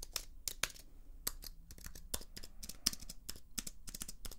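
Long nails scratch and tap along the aluminium edge and plastic keys of a slim white plastic-and-aluminium computer keyboard. A quick, uneven run of sharp, bright clicks and ticks sounds over a faint low hum, each dying away almost instantly.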